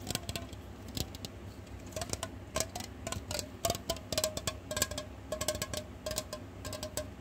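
Fingertips and short nails tap a hollow, silver, cylindrical aluminum aerosol hair spray can held horizontally in both hands. About thirty quick, irregular taps produce bright, clicky metallic ticks with a faint, very short ring. A low, steady hum runs underneath.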